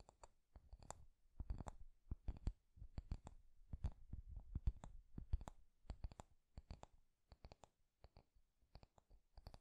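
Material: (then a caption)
Wood. Fingernails tap the wooden back of a wooden paddle hairbrush and strum its wooden pins. The result is a quiet, irregular run of quick, dry clicks and taps, each with a soft low thump under a bright, short tick that dies away almost instantly.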